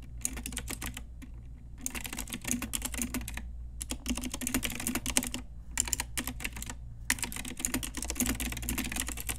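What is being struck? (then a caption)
Plastic mechanical keyboard with round keycaps. Typing on an Ajazz pink typewriter-style retro plastic mechanical keyboard with round plastic keycaps, struck with long nails and fingertips. Bursts of rapid, bright, clacky keystrokes are separated by short pauses, over a steady low hum.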